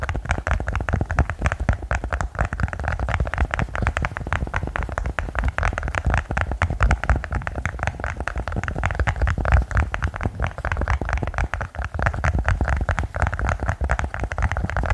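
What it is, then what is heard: Silicone pop it fidget toy. A small rainbow-colored silicone pop it fidget toy with hollow bubble domes is held in both hands and tapped and pressed with fingertips and nails throughout. A rapid, steady stream of dull, low-pitched taps and soft pops runs without pause, each one short and muffled with little high-end crispness.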